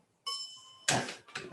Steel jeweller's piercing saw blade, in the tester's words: that basically tells you you've got enough tension on it and that means it's going to cut really nice and easily